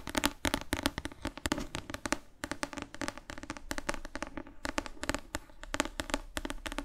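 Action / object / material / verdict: tap / thick paperback book with glossy cover / paper / none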